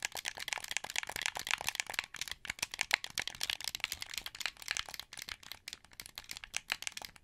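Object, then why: Plastic game controller. Fingertips press the buttons, sticks and triggers of a translucent blue, hollow plastic wired Xbox 360 controller held in both hands. It makes a rapid, uneven run of short, dry clicks and rattles. The sound is bright and high with almost no low end, and each click stops at once with no ring.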